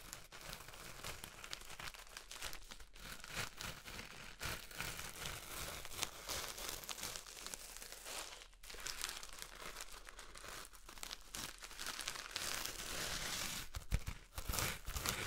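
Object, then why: Floral foam brick in plastic wrap. A solid green floral foam brick in clear plastic wrap is held close and crinkled by fingertips pressing and rubbing the wrap. A dense, continuous plastic crinkling with bright, crisp crackles runs throughout, growing louder and busier near the end.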